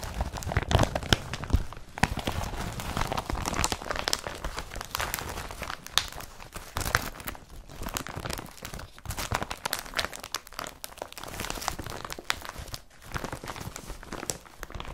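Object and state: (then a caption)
Woven polypropylene bag. An empty blue woven polypropylene IKEA BRATTBY carrier bag is rubbed and scrunched by fingers. The result is continuous dry crinkling and crackling with many quick, closely spaced rustles across the whole clip.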